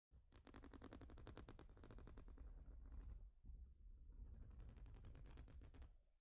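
Long nails rapidly tap and scratch across a large, flat plastic Lego-style studded baseplate. A fast, dense clicking rattle runs with a heavy low rumble underneath, with a brief dip just after the midpoint before a second rapid burst that fades at the end.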